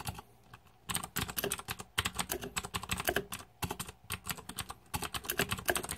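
Fingertips type on a green-backlit Razer 2014 Deathadder mechanical keyboard with plastic keycaps. Rapid, bright clicky keystrokes come in quick bursts separated by brief pauses, each tap dying away almost instantly.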